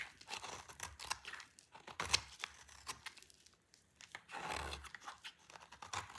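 A utility knife blade shaves a solid, dry orange bar of soap held in the hand, peeling it into crunchy curls. Each pass makes a bright, dry, crackling scrape with almost no low end or ring. The strokes come in quick repeated bursts, with a brief quiet pause partway through.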